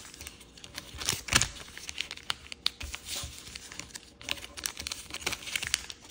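A purple kaleidoscope origami paper sheet is folded, with fingertips and nails creasing and rubbing the folds. The result is a steady run of bright, dry crinkles and crisp snapping creases, with a few louder sharp crackles standing out over soft rustling.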